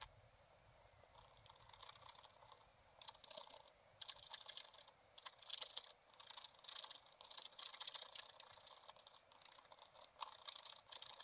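The coating of a scratch-art page in a spiral-bound book, lying flat on a table, is scratched with the tip of a wooden stylus in short strokes. Dry, bright, raspy scratching comes in irregular bursts throughout, with almost no low end. Each stroke cuts off quickly with no ring.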